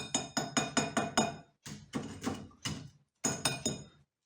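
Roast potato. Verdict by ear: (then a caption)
Crispy. Finished roast potatoes are tapped to show how crispy they are: a quick run of six sharp taps, then two more bursts of tapping. Each tap gives a hard, dry, crackly click with bright high clatter and very little ring. The potatoes sound crisp on the outside and are fluffy inside.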